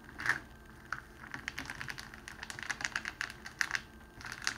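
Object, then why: Rolled cellophane sheet. A rolled strip of clear cellophane wrapping sheet is pressed and rolled under the palms and fingertips. It gives a steady run of sharp crinkles and crackles, bright and dry with almost no low end, like rapid typing clicks. The crackles come in uneven bursts and stop short with no ring.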